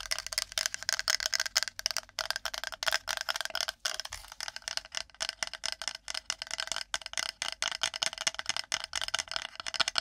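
Long nails rapidly tap and scratch the flat face of a shaped, flat, solid, light wooden plate held beside and in front of the microphone. The result is a fast, rough stream of dozens of dry, bright clicks and scratchy rasps with almost no low end. Each sound stops instantly, with no ring.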